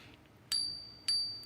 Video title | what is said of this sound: Silver Coins and UFC Fights! | this sounds more like a windchime